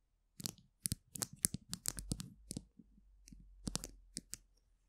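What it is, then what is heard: Plastic glue stick tube. Long acrylic nails tap and scratch along the barrel of a small, colourful polka-dot plastic glue stick, a capped hollow tube held in both hands above a microphone. A rapid series of sharp, bright clicks with brief hollow knocks is heard, each dying away almost at once, with softer scratching between the taps.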